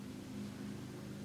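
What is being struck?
Nothing is struck.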